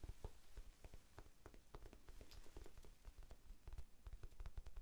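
A small, soft, solid rectangular pink foam sponge is held in both hands close to the microphone and tapped with the fingertips, sometimes fast and sometimes slow. The taps are quiet, dull, low thuds that die away almost instantly, with a faint crackly, rain-like patter from the quick strikes.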